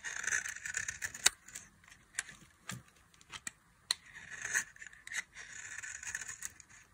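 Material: Soap.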